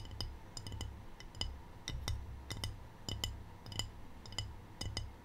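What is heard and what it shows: Long painted fingernails tap a small rectangular white glazed ceramic tray with a black triangle print, held tilted and empty. The bright, short clicks come in quick pairs and clusters at an uneven pace, each ringing briefly around 3 kHz over a steady low rumble.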